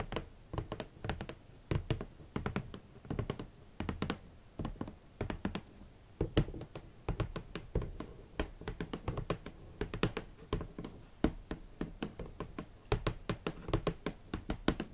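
A large, hollow, rigid red cardboard shoe box is tapped with long nails and fingertips on its lid and front face. Rapid, irregular clusters of short, dull taps carry mostly low, hollow thuds, with brief bright clicks from the nails and almost no ring between them.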